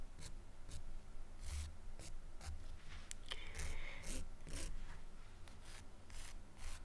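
A pale press-on nail on a fingertip is drawn repeatedly along the white-grey abrasive surface of a long, flat, curved emery nail file with pink edges, held in one hand. Quiet, bright, scratchy filing strokes repeat over a low steady hum. Partway through, a brief thin squeak rises out of the rasping.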